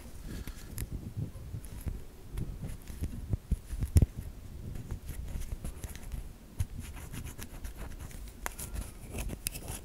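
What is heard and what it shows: Long nails scrape along the edge and side of a white solid bar of soap, shaving flakes off it. The result is a steady, soft, low-heavy rubbing and scratching texture, scattered with brief bright ticks and a sharper click about four seconds in.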